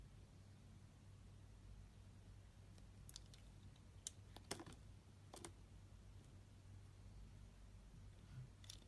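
A utility-knife blade scrapes the surface of a solid, rectangular, tan-brown laundry soap bar with stamped lettering. Short, crisp, bright scraping clicks come in scattered bursts over a quiet, steady low hum. Each one cuts off almost at once.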